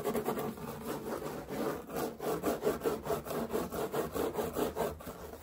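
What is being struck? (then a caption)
Woven straw hat. Fingertips and nails scratch and rub the woven straw of a large wide-brim straw hat with navy trim, worn on the head. Quick, rough rubbing strokes repeat in a loose rhythm, about two per second. The dry, papery scratching is centered in the midrange.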